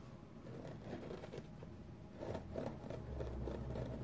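Fingernails scratch and rub a flat, dry, wavy-edged foam sponge with a purple flower print, making soft, muffled scratching strokes. The sound is dull and low-to-mid heavy with little brightness, growing louder after about two seconds as a steady low rumble joins underneath.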